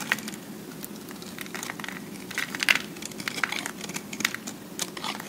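A metal cutter blade shaves and scrapes along the sides of a solid, hand-sized pressed cube of recycled soap held close up. Dry, crackly scraping and crumbling sounds come in irregular bursts of sharp, bright clicks over a faint, steady low hum.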